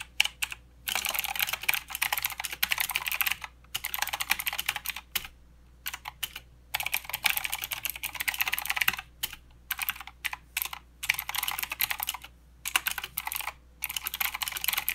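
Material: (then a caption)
Plastic. Fingertips of both hands type continuously on a plastic mechanical keyboard with clicky blue switches and plastic keycaps. Rapid bursts of sharp, bright clicks come in runs, broken by brief pauses, with each click ending almost instantly.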